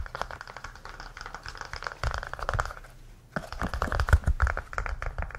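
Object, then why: Small hollow hard-plastic heart-shaped case. A small red-orange, hollow heart-shaped case, apparently hard plastic, is held in the hands and tapped quickly with fingertips and nails. The result is a fast, uneven patter of short, dry, hollow clicks with a soft low thump. After a brief quiet pause, the tapping resumes louder as the case is turned edge-on near the end.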